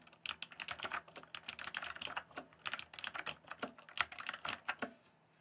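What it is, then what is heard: Plastic mechanical keyboard. Fingertips type and tap on a full-size RGB-backlit plastic mechanical computer keyboard, its hollow keys sitting on a solid base. A rapid, uneven run of sharp, bright clacks is heard, each dying away almost instantly, over a faint steady low hum.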